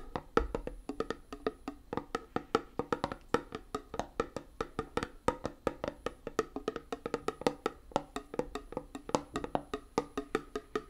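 A small, round, closed metal tin of hand putty with a colourful label is held up and tapped rhythmically with fingernails on its lid and side. The result is a steady stream of quick, dry, wood-block-like clicks with a hollow tone around 460 Hz. Each tap dies away almost instantly.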